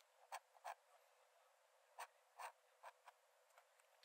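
A metal nib in a wooden dip-pen holder scratches thin lines onto the cream paper page of an open sketchbook lying flat on a dark desk while drawing. Six main short, dry scratches stand out over a quiet hiss, with a few fainter strokes between them, each a bright, papery rasp centered in the midrange with no low end.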